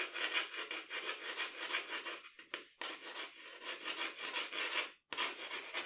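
A pencil draws long, scratchy hair strokes across a sheet of drawing paper. The rapid, repeated strokes make a bright, dry rasping sound, with a brief pause near the middle and a short silence near the end before the scratching resumes.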